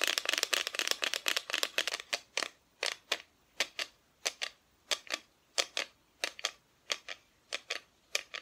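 Long nails tap on a painted wooden Christmas decoration, a flat, thin, solid plywood cut-out with a painted front. A fast flurry of dry, bright clicks gives way to slower, evenly spaced single taps. Each tap is short and crisp, with almost no ring and no low end.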